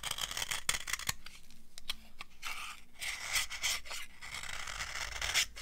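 A metal knife scrapes along the edge of an old, solid, dry yellow soap bar, giving crisp, crunchy scraping bursts. The shaving is bright and hissy, with sharp ticks and short gaps between strokes.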